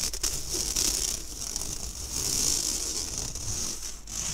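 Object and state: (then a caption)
Stainless steel mesh sieve scratched. Fingernails scratch the wire mesh of an empty, round, fine-mesh stainless steel sieve held by its handle close to the mic. The sound is a steady, bright, hissy rasp concentrated in the high range, with faint low rumble underneath and small swells in loudness as the scratching continues.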